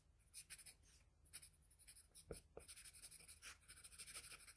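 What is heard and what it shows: The graphite tip of a wooden pencil scratches short strokes on a sheet of flat white drawing paper on a desk, shading the ear area of a portrait. The quiet, bright, papery scratching comes in quick bursts, with two sharper ticks of the tip just past the middle.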